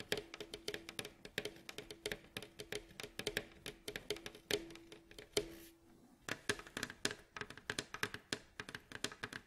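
Fingernails tap rapidly on the varnished staves of a hollow, glossy, striped wooden bowl-back mandolin near the neck joint. About fifty short, dry, bright clicks ring out with very little decay, over a faint hollow body tone around 400 Hz. The taps pause briefly near the six-second mark before resuming.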